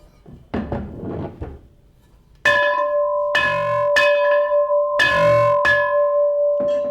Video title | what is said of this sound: In The Interest Of The People 12-07-2014 | that sounds like it's ringing